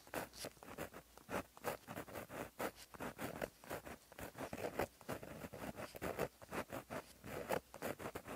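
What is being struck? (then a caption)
Gel pen tip on a paper notebook page. A plastic-barrel gel pen with a metal tip, held in the fingers, writes across a flat black lined paper notebook page lying on a surface. The tip scratches along the paper in quick, soft strokes, each a short, dry rasp centered in the mids with a faint bright hiss. The strokes stop and start in a steady, uneven rhythm throughout.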